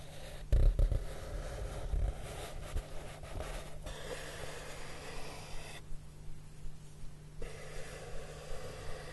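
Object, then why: Cardboard sheet. Fingertips of one hand with short nude-polished nails stroke and rub a large flat brown cardboard surface. It makes a soft, breathy, low-pitched rubbing sound, with a few louder thuddy bursts in the first two seconds before settling into quieter, steady swishing strokes.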